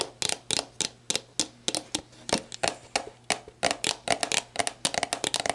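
Long black nails tap the bare plastic shoulder near the neck of a clear plastic sports drink bottle, hollow and mostly empty, lying on its side. The result is a quick, uneven series of crisp, bright clicks with a light hollow tone, very little low end and almost no ring after each tap. The taps come faster and closer together toward the end.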